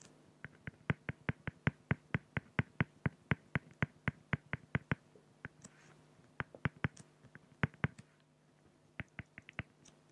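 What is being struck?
Felt-tip pen on an acrylic plastic sheet.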